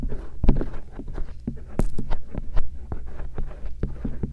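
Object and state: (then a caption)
Silicone ear microphone scraped with a metal pick. A thin stainless steel earpick scrapes along the folds of the soft silicone ears of a binaural microphone. The result is close, muffled rubbing and scratching with soft, dull thumps, heavy in the low end and with almost no bright content.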